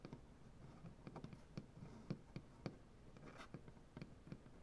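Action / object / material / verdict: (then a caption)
tap / wooden butcher block tabletop / wood / none. Fingernails from both hands scratch and tap along the grain of a solid, light wood butcher block tabletop. Quiet, dull, low knocks with very short decay come at an uneven pace. Soft, dry scratching fills the gaps between them.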